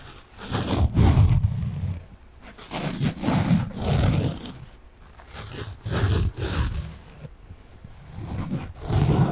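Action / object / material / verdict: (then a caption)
scrape / foam kitchen sponge with scouring layer / foam / none. A small pink foam kitchen sponge with a yellow scouring layer is held upright and scratched with fingernails. The scratching comes in slow, uneven swells of deep, rough, rumbling scraping, heavy in the low end with little brightness.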